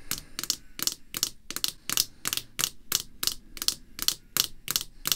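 A small, clear rigid plastic acrylic card holder, showing the back of a baseball card and resting on black cloth, is tapped and lightly scratched by red artificial nail tips. About 16 quick, bright clicking taps come in a loosely regular rhythm. Each is crisp and high-pitched with almost no ring.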